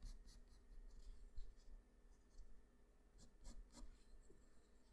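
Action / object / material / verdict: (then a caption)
scrape / graphite pencil on a paper drawing sheet / paper / none. A graphite pencil held in the fingers scratches short hatching strokes near the face and hair of a drawing on a flat sheet of white white drawing paper. Quiet, dry, bright scratches come in brief bursts over a steady low rumble.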